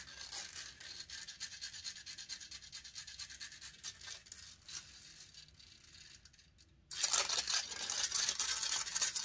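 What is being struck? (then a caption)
Metal mesh microphone grille. Long nails scratch and rub the hollow metal mesh grille of a silver condenser microphone while the other hand holds its body. Rapid, uneven strokes make a bright, hissy rasp that fades quieter toward the middle and drops almost silent near seven seconds. Then louder, denser scratching resumes abruptly until the end.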